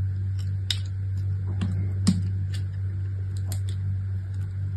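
A small solid chunk of striped brown and white bar soap, held between long-nailed fingertips, is cut and scraped with a utility knife blade. Short, crisp, bright scraping cuts rise intermittently over a steady low hum, each fading quickly.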